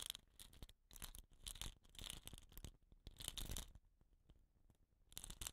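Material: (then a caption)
Bamboo. A fingertip scratches the tube of a hollow, painted bamboo rain stick with a rattan end cap, then a hand grips and tilts it. The result is quiet bursts of bright, dry scratching and rustling over low thumps, separated by short near-silent gaps, with louder stretches in the middle and at the end.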